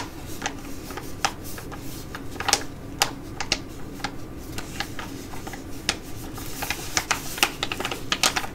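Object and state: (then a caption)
Plastic foil sheet mask pouch. A flat, thin Be Shineeee Jewelry Mask plastic foil sheet mask pouch for Korean skin care is held and slightly bent while long nails tap and scratch it. Sharp, bright, quick-decaying clicks and crinkles scatter over a steady low background hum.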